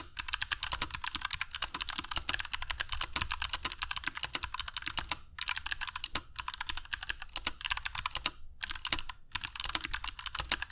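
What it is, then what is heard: Mechanical keyboard with PBT keycaps. A compact black mechanical keyboard with dark PBT plastic keycaps and Kailh Box Jade switches, resting on a cork desk mat, is typed on continuously with the fingertips of both hands. Rapid, bright, clicky keystrokes stack densely with almost no ring, broken by a few brief pauses.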